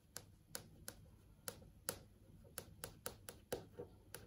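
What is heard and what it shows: Long acrylic nails tap on the surface of a large flat LCD TV screen showing search results, producing eleven short, sharp clicky taps at an uneven pace. Each tap is quick and bright with almost no ring, over a quiet low hum.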